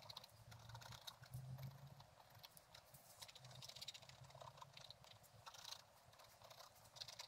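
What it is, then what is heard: Scratch-art paper page. A thin wooden stylus scratches a flat page of black-coated scratch-art paper with a gold underlayer, bound in a book. Quick, dry, bright scratching strokes follow one another in a steady, busy stream over a faint low hum.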